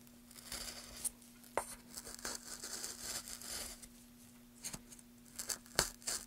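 A gloved hand pushes a small metal gouge along the surface of a solid pale wooden board, cutting out shavings while the other gloved hand holds the board steady. Bright, dry scraping and crisp carving strokes come in uneven bursts, broken by a few sharp clicks. A faint steady low hum runs underneath throughout.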